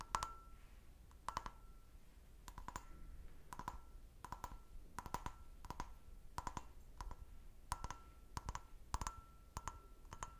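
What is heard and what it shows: Long nails tap an empty, clear, stemmed glass goblet held in a hand, striking its hollow bowl and base. Quick pairs and clusters of light, sharp clicks come in a steady rhythm. Each carries a short glassy ring near 1 kHz that fades almost at once.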